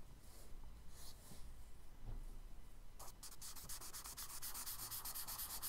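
A charcoal stick held flat rubs broad strokes across a page of a spiral kraft paper sketchbook. A few slow, soft rasping strokes give way after about three seconds to a quick, steady run of brighter, scratchy back-and-forth rubbing.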